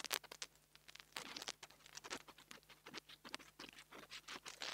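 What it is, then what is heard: Mini lavalier microphone grille scratched. A metal nail tool tip scratches the top of the metal grille on a small black plastic mini lavalier microphone held in the fingers. It makes quiet, rapid, bright scratching and pattering bursts with almost no low end.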